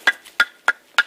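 Fully dried oak firewood is knocked four times, each strike giving a short, clear, hollow wooden knock with a bright ring around 1.4 kHz that dies away almost at once. The clean tone shows the wood is dry, with all its moisture gone.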